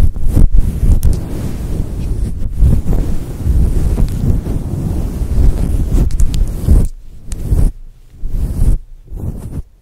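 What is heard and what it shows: Long nails scratch a grey and white fluffy faux fur windscreen covering a microphone, giving a dense, low, rumbling rustle. The sound is heavy in the bass with almost no high end, and it breaks into short gaps of near silence toward the end.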